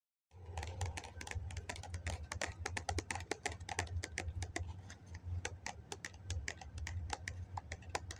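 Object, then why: Foam cup. Fingertips and nails tap rapidly along the side of a hollow, medium-size white foam cup held in both hands. The taps are quick, light and dry bright clicks in an uneven stream, riding over a steady low hum. They keep going for the whole clip without stopping.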